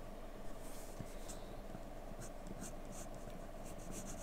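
A graphite pencil shades a flat white drawing sheet with a rubbing, scratching motion. The result is a quiet, continuous scratchy rasp with brief brighter strokes over a steady low hum.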